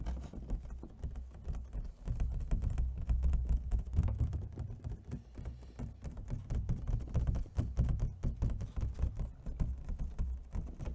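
Fingernails tap rapidly on the lid and ribbed rim of an empty, hollow clear plastic clamshell food container held in both hands. The tapping is dense and uneven, with short, dull, low-heavy clicks that die away almost instantly. It swells and eases in loudness across the clip.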